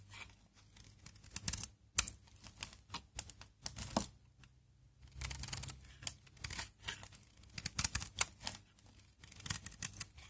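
A utility knife blade scrapes and carves brittle flakes off one face of a solid, hard, dry brown Aleppo soap bar held in one hand, with the shavings piling up on the palm. The sound is a series of short, dry, bright scraping crackles and clicks that come in bursts, broken by brief quiet pauses. A low hum sits faintly underneath.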